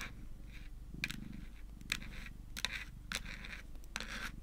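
Long nails tap rapidly on a small, flat, hard-shelled white plastic Hello Kitty power bank lying on a table. The sharp, bright clicks come with scratchy scraping between them over a steady low hum.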